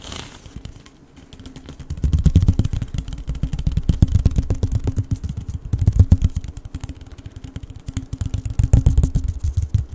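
A hollow blue corrugated plastic pop tube is compressed and stretched in the hands while fingers rub along its ridges. After a quiet first two seconds, it gives rapid, dense runs of short, dry clicks and rattling pops. The sound is mostly low and thumpy, rising and falling in waves through the rest of the clip.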